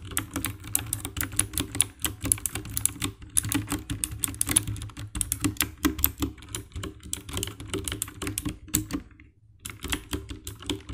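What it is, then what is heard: Plastic mechanical keyboard being typed on. Fingertips and nails type rapidly on the keycaps of a compact 60% black plastic mechanical keyboard with an RGB backlight. Dense, dry clicking key presses with bright high ticks run over a low thud, pausing briefly near the end before the typing resumes.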